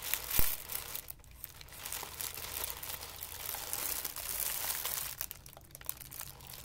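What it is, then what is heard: Crumpled tissue paper. A sheet of white tissue paper is crumpled and crushed into a ball between both hands. A sharp crackle near the start gives way to dense, bright crinkling and rustling that swells and fades over a steady low hum.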